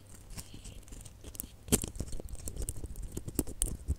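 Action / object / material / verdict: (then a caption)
scrape / small hollow plastic baubles with glitter coating / plastic / none. Fingernails scratch the rough glitter coating of small, hollow red glitter plastic Christmas baubles gathered in a cluster. Soft, gritty scratching and crinkling builds into louder, sharper ticks and taps from about the midpoint, with a bright, scratchy edge over a low rumble.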